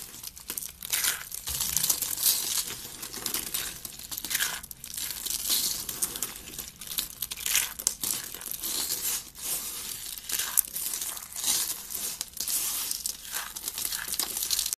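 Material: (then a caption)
Soap. Thin, hollow curled shavings of dry pink soap are squeezed and crushed in both hands, with fingers and long red nails breaking them into flakes. Dense, bright crackling and crinkling runs steadily throughout, with quick dry snaps, almost no low end, and no ringing after each crunch.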